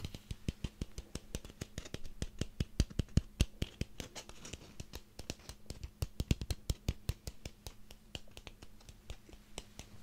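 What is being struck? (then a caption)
Small ribbed pumpkin. Fingernails scratch rapidly across the ribbed surface of a small orange pumpkin held close to the microphone. The result is a dense run of short, dry clicks and scrapes over a faint steady low hum.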